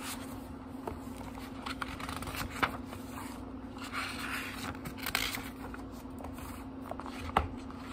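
Fingertips riffle and turn the cream paper pages of a small book, making soft, dry papery rustles broken by sharper flicks with bright crisp edges. A steady low hum runs underneath the whole time.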